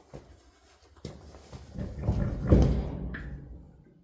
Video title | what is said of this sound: New Rubber for the 830-Industrial - Part 2 | when you shake it, you hear fluid